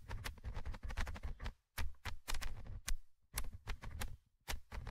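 The small metal mesh microphone grille of a handheld Tascam recorder is scratched with a thin orange stick held in the fingers. Bursts of close, rough scratching and tapping come through with a heavy low rumble and brief bright ticks, broken by a few short silent pauses.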